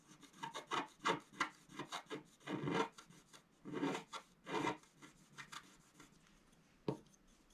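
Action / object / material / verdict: scrape / black-coated scratch-art paper card scratched with a wooden stylus / coated paper / none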